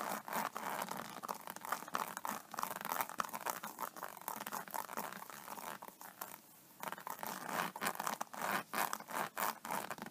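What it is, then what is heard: Faux snakeskin tablet case. Long painted fingernails of both hands scratch and tap a flat iPad case covered in iridescent, embossed, snakeskin-textured synthetic leather lying on a table. The result is a dense, irregular run of dry scratching and crisp tapping, centered in the upper midrange with bright texture and almost no low end. A brief near-silent pause falls around six and a half seconds.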